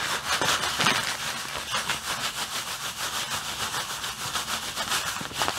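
Fingers press, squeeze and crinkle a clear plastic bag full of white artificial snow. The result is a steady, bright, crackling rustle with almost no low end, pulsing in loose, uneven surges as the bag is worked.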